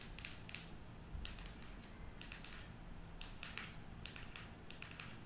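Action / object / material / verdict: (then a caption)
tap / cardboard eyeshadow palette / cardboard / none. Long nails tap on the cover of a closed cardboard eyeshadow palette as it lies on a table, then as it is held up. The quick, bright, dry clicks come in irregular clusters and center around 2.3 kHz. A steady low hum runs underneath the whole time.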